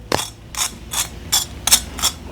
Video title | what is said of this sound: Costco pork loin cooked five ways!!!! | see if you can hear this see this see how crispy that is